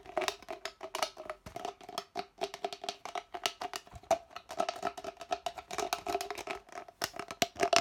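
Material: Plastic.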